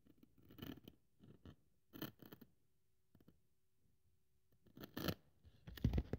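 A thin white polyethylene packing foam sheet on a wooden table is held by one hand with long nails while the other cuts strips from it and scrapes it with a craft scalpel blade. The sound is a series of short, quiet, crisp scratching and slicing bursts with bright edges, separated by near-silent gaps, with a faint steady low hum between them.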